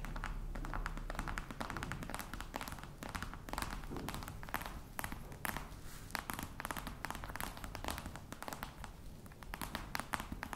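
Long nails tap quickly on the lid of a hollow croc-embossed faux leather box. The result is a rapid, steady stream of short, dry, hollow taps with a low, thumpy body and almost no ring.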